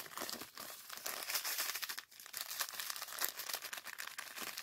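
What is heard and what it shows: Fingers squeeze and rub a small clear plastic zip-lock bag of purple sand granules held in both hands. The result is a steady, bright crinkling and gritty rustle with no low rumble, briefly dropping quiet around the two-second mark before resuming.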